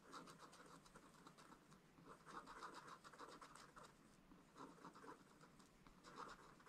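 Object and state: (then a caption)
Stylus scratching coated paper. A wooden stylus scratches the black coating off a scratch-art page in a spiral-bound book, which lies flat on a table and is held by one hand, revealing the colour underneath. Quiet, dry, raspy strokes come in short, irregular bursts with a steady midrange scratch and faint bright edges.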